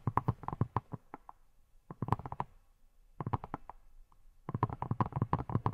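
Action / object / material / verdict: tap / hand-sized silicone pineapple-shaped brush / silicone / none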